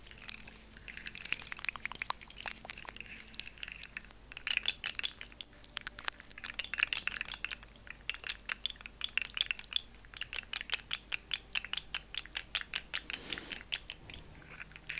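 A hand-sized, hollow, rainbow-colored segmented plastic slug fidget toy is held in long-nailed hands, flexed and shaken so its segments click against each other. Rapid, dry, bright clicks and clatters come in dense bursts with almost no low end and no ringing.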